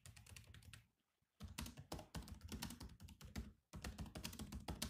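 Bare fingertips of both hands type fast on the black plastic chiclet keys of a grey laptop keyboard. Quick, clicky taps with a low thud come in dense bursts, broken by two short pauses.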